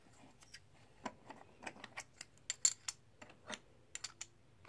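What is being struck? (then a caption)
Plastic poker chips. Solid plastic/composite poker chips are dropped one by one from the fingertips onto a stack held in the palm. Each lands with a short, bright click, coming in an irregular run of sharp taps with almost no ring and little low end.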